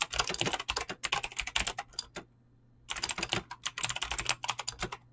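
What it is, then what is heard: Mechanical keyboard with PBT keycaps. Fast typing with fingertips and short nails on a full-size mechanical keyboard with Razer clicky green switches and dyed PBT plastic keycaps, resting on a desk. Bright, sharp clicks come in quick, continuous bursts with a brief pause in the middle. Each click dies away almost instantly.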